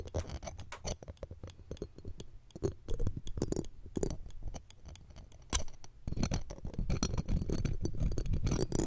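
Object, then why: Steel wire-mesh microphone grille scraped with metal tweezers. Several thin metal tweezers scrape and tap the mesh edge of the round steel wire-mesh grille on the left pencil condenser microphone. Rapid, irregular clicky ticks and scratchy scrapes ride over a heavy low rumble, with brief bright transients that cut off almost instantly. The scraping grows denser and louder in the last few seconds.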